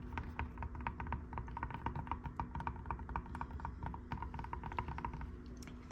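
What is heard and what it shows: Fingertips tap rapidly and unevenly on small cork tiles mounted on a robin's egg blue hotel room door, next to the emergency map. Each tap is a short, soft, dull click that dies away almost at once, over a faint steady low hum.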